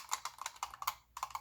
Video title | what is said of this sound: Mosin Nagants and You | So my particular Mosin here has a loose magazine floor plate. This thing rattles like crazy, and it is the original one.